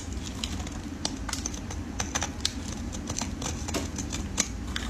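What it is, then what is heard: Soap bar being shaved with a blade. A solid red soap bar held in gloved fingers is shaved into curls with a metal utility blade. Quick, crisp scraping clicks come in a steady run of strokes, each short and bright, over a low, constant background rumble.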